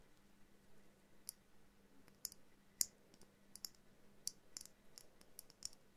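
Long painted nails tap a small hollow glass jar snow globe ornament, held in hand, with a twine-wrapped base and a miniature winter scene inside. About ten quiet, bright, sharp clicks come at an irregular pace, each dying away almost instantly over a faint low steady hum.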